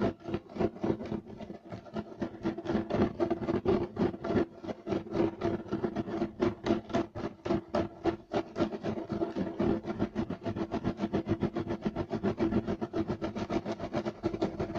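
Short nails of both hands scratch fast across a flat, solid, beige striped woven loop-pile carpet. Rapid, slightly uneven raspy strokes continue steadily throughout, with a dry scratchy texture centered in the low-mids around 340 Hz and little bright content.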